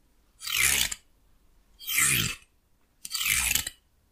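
A fingernail strums and scratches along the teeth of a solid wooden hair comb held in one hand. Three separate bursts of dry, bright, high-pitched rasping are heard, each about half a second long with quiet gaps between them.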